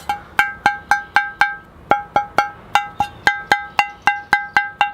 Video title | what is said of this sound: Bonsai Pots and Trees, The Bonsai Zone, June 2021 | how they ring, they're almost musical.